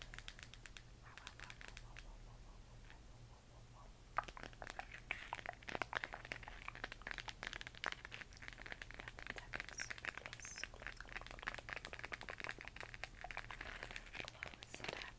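A hollow plastic LED moon lamp glowing cyan is tapped and scratched with long fingernails, producing quick, dry clicks and crinkly scratching with bright highs over a steady low hum. The first four seconds are quieter and sparser, then the taps and scratches grow denser and louder for the rest of the clip.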